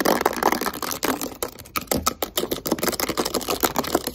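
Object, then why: Plastic spray cleaner bottle. A blue and green plastic Microban multi-purpose cleaner bottle, hand-sized and hollow, is held in the hands and tapped and scratched with long white acrylic nails. About 18 quick, dry clicks and scrapes come in a fast, uneven run, with a hollow plastic tone and bright edges, each dying away almost at once.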